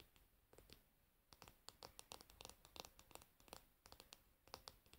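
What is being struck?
Wooden hairbrush handle.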